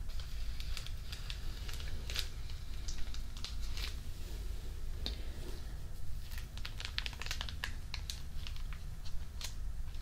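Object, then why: Thin plastic photo album sleeve. Fingertips rub and crinkle the thin clear plastic sleeve of an open photo album page, which is held up over a dark page. Soft, scattered crinkles and brief bright crackles sound over a steady low hum throughout.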